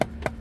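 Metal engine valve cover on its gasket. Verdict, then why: Hollow. Two mallet taps strike the metal valve cover of a Honda K24 engine in a 7th-generation Honda Accord as it is being removed from its gasket. Each tap gives a short, hollow knock with a mid-pitched tone around 630 Hz that dies away almost at once. The hollow sound shows the cover has loosened from its gasket seal.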